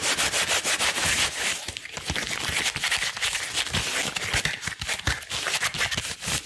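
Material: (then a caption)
Rubber. Long blue rubber gloves worn on both hands are rubbed and pulled against each other at the fingers and wrists. This makes a steady, bright, squeaky rubbing with quick, crackly strokes, mostly high in pitch with little low end.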